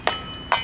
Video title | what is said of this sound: RESURFACING SIDEWALKS (part 5) Mike Haduck | You see there's still hollow spots. You could hear it